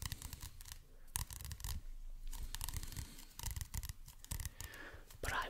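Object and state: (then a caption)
Paperback book cover. Fingertips and nails scratch across the glossy card cover of a medium paperback book, "Art of the Western World," held upright close to the microphone. Quick, dry, bright scraping strokes come in irregular bursts with a soft, low, rumbling thump beneath them, and each stroke cuts off almost instantly.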